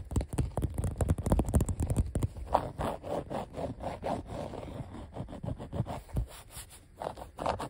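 A fingertip and nail tap and scratch along the letter outlines of a flat, thin, solid blue glossy vinyl sheet of die-cut letter stickers. Quick dry taps and short scraping strokes come in a busy, irregular run, loudest in the first two seconds, followed by softer scratching with a mid-range rasp.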